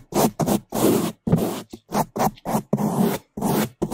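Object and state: Foam microphone windscreen being brushed.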